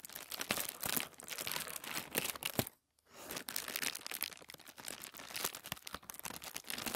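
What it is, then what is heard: Thin tissue paper. Fingertips rub and scratch a thin white tissue paper sheet lying flat on a wooden table. A dense, bright crinkling and rustling runs throughout, with many quick scratchy bursts, broken by one brief silent pause just under three seconds in before it resumes.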